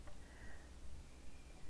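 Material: Nothing is struck.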